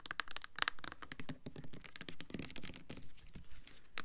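Long nails tap and scratch the label and sides of a red Bath and Body Works Winter Candy Apple plastic foaming hand soap bottle, full of red liquid and held in hands. The result is a quick, irregular stream of dry, crisp clicks and scratchy crinkling, with no ring after each tap.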